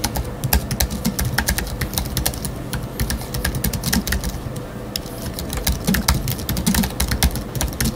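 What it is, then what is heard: Aluminium and plastic computer keyboard being typed on. Fingertips of both hands type rapidly on a space grey Apple Magic Keyboard with numeric keypad, which has a thin aluminium body and black plastic keys and rests on a wooden desk. A dense, steady stream of short, bright key clicks sounds over a low, constant rumble.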